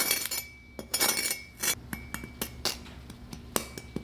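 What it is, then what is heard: Crispy roast pork belly skin. Roasted pork belly skin, cooked at 400°F, is tapped repeatedly to show its crispness, giving a quick run of hard, glassy clinks with bright high-frequency snaps and almost no ring. The skin has crisped up perfectly, airy rather than hard.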